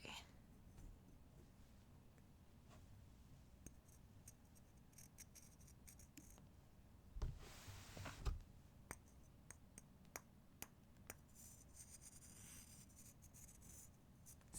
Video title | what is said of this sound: 4k Special - Listener Vote - Unedited Ramble of Kat Being Kat | sounds like stone i love it